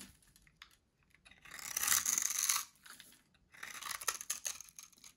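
A solid, dry orange soap bar with a grid-cut surface is held in the hand while cubes are sliced off it with a metal blade. The carving makes bright, dry crunching and crackling in two longer bursts, with small scattered clicks between them.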